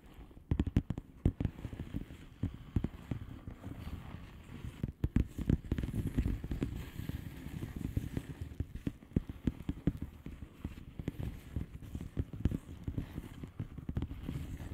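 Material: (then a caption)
Plastic. Long fingernails on both hands tap across the bubbles of a flat blue plastic bubble wrap envelope. The result is a steady stream of quick, dull, low taps with sharp soft clicks and almost no ring, in irregular bursts that run throughout the clip.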